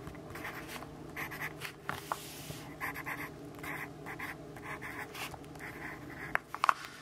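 A yellow wooden graphite pencil writes in steady strokes on an open notebook of white grid paper lying flat on a wooden desk, while the other hand holds the page. Quiet, bright scratching comes in short bursts throughout, with a few sharper taps near the end.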